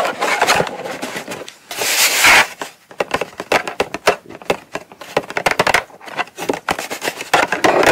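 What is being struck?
Small cardboard box.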